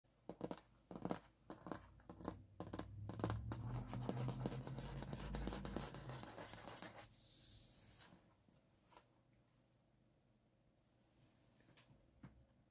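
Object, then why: Wood-grain hardboard clipboard with metal clip. Fingertips and nails tap and scratch across a flat, thin clipboard with a wood-grain surface (likely hardboard or masonite) and a metal clip, resting on fabric, occasionally touching the clip. Sharp, separate taps open the clip, giving way to a dense stretch of continuous scratching with a low hum beneath it, then a brief bright hiss. Sparse, quiet taps close it out.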